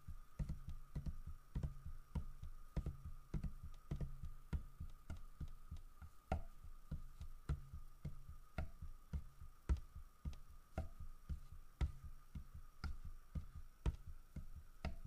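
Fingertips tap the side of a large, solid carved wooden bear statue. The taps are quick, dull and low, coming at an uneven pace of roughly one to two per second, each dying away almost at once. A faint steady hum runs underneath throughout.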